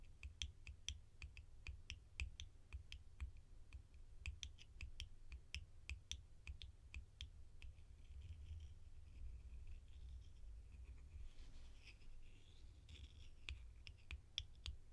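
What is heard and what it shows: A small, hollow, gold-coloured metal screw jar lid held in one hand is tapped and scratched with long painted nails. A rapid run of sharp, bright clicks with very short ring comes first, then softer scratching and rustling. A steady low hum runs underneath throughout.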